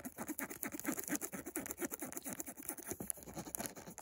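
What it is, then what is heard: Cardboard perfume box. Fingertips and short nails tap and scratch along the edges and faces of a small, closed, white rectangular cardboard perfume box held in the hand. The result is a rapid, irregular patter of dry, clicky taps mixed with bright scratching, each tap dying away almost instantly.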